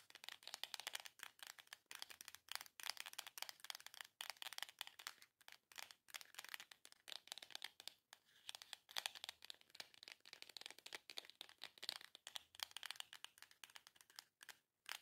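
Long nails rapidly tap and scratch the front of a small, long, hollow printed cardboard box. The result is a dense, bright patter of dry clicks and scrapes with almost no low end and very short decay, broken by a few brief pauses.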